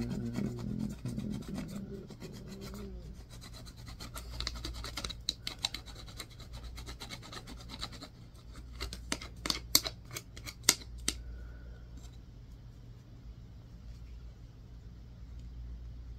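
A solid white bar of soap is scraped with a yellow-tined, wooden-handled tool, sending soap dust falling. Dry, raspy scratching runs throughout over a low rumble. Between about 5 and 11 seconds, sharp, bright ticks and clicks stand out before the sound settles back to a faint scrape.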